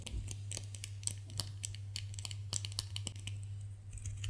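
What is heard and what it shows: A solid white bar of soap is scratched and scraped with nails, giving a quick run of short, dry, bright clicking scratches over a steady low hum. The strokes come close together and each dies away almost at once.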